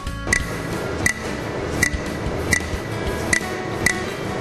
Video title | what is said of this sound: Catalisador automotivo cap 2 | passou também no teste de excitação, demonstrando que ele tem o núcleo cerâmico